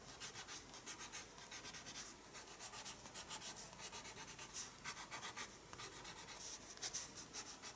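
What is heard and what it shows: A pencil scratches quick shading strokes across a page of a spiral-bound paper sketchbook, held steady by the other hand. The sound is a quiet, bright, papery scratching in a steady rhythm of short strokes, with almost no low end.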